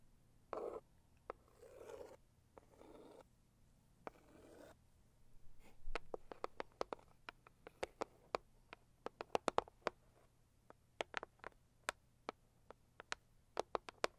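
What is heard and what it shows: Long acrylic nails scratch a medium, hollow, pink floral Saviland cardboard gift box in soft, muffled bursts over the first few seconds. Then they switch to tapping, producing a quick, irregular run of sharp, dry clicks with almost no ring against a quiet background.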